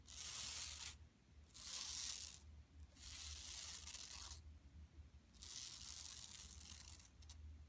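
Long nails scratch across the surface of a flat, empty yellow woven plastic mesh tote bag lying on carpet. Several long bursts of bright, high, scratchy rasping are separated by quieter pauses, with a faint low hum underneath.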